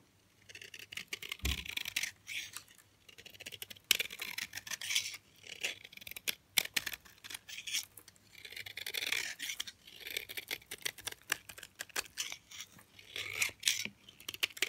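A utility knife blade scrapes and shaves flakes off the edge of a solid white DURU bar of hard, dry soap held in the hand. The result is a run of crisp, bright scratching strokes arriving in short bursts, with almost no low end and no ringing after each pass.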